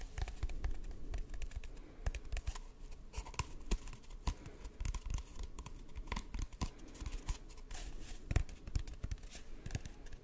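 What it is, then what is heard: Empty cardboard tube. An empty, hollow brown cardboard tube is held across the microphone and tapped and scratched along its length with fingertips and short nails. Rapid, irregular dull taps with a deep hollow thud mix with dry, crackly scratching. Each hit is short and dies away almost at once, over a steady low rumble.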